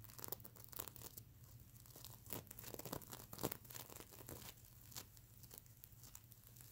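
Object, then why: Plush pillow with plastic sequin cover. Fingernails of both hands scratch across the plastic sequin cover of a plush mermaid unicorn pillow, producing dense, bright, crinkly scraping and ticking bursts over a steady low hum. The scratching comes in quick irregular strokes, with the loudest scrape at about three and a half seconds.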